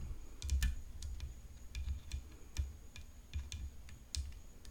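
Long fingernails tap steadily on a tennis racket, making a quick run of light, dry clicks with a soft low thump under each one. The taps are quiet, die away almost instantly, and fall in an uneven rhythm.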